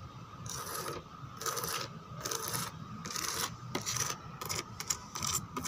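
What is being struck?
Textured plastic chair backrest.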